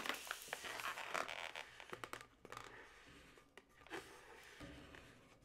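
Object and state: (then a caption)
Latex modelling balloon. Long nails scratch and tap a yellow, hollow, inflated latex modelling balloon with twisted segments. Bright, scratchy rubbing and rubbery squeaks mix with quick, irregular taps. The sound starts busy and louder, then thins to softer scraping.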